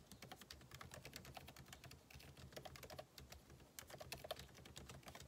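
Fingertips type rapidly on the plastic keycaps of a backlit MacBook Pro keyboard set in an aluminum body. A dense run of short, crisp clicks with bright tops and a soft low thump under each keystroke continues without pause.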